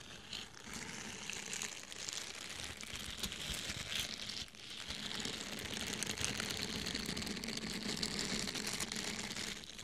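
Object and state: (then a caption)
Foam sponge. A small orange foam sponge held in both hands is scratched with fingernails and squeezed. The result is a steady, dense, bright scratching and crinkling texture with a soft low hum underneath. It eases briefly around the middle before continuing at a slightly fuller level.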